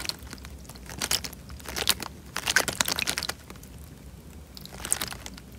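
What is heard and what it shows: A tied, clear plastic bag full of water is squeezed in the hand, so the water sloshes and the thin film crinkles. Bright, crackly crinkling comes in several bursts with quieter, softer rustling between them, and there is little low end.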